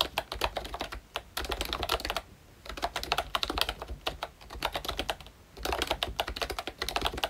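A full-size ROYCHE Disney Mickey Mouse retro membrane keyboard with round plastic keycaps is typed on continuously with the fingertips of both hands. It makes rapid, soft, bright plastic clicks and taps with very short decay, broken by two brief pauses.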